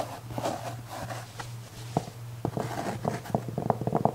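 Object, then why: Velvet-covered jewelry tray. Fingernails scratch the surface of a black velvet-covered jewelry tray held upright, flat and rigid. Soft, muffled scratching rustles over a steady low hum, turning into a run of sharper, short scratchy strokes in the second half.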